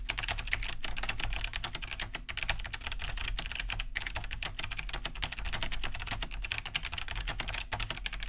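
Fast typing with both hands' fingertips on a large beige Cherry G80-3000 keyboard, fitted with Kailh BOX White switches, with a hollow plastic case and thick plastic keycaps, resting on a wooden desk. A dense, continuous stream of bright, clicky key-switch taps rattles over a steady low hum, with no pauses across the clip.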